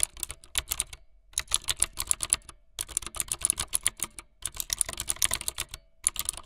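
Fingertips with long light-blue nails type fast on a full-size plastic mechanical keyboard with white, blue and yellow plastic keycaps and a blue backlit frame. Quick bursts of bright, sharp key clicks with almost no ring are broken by brief pauses.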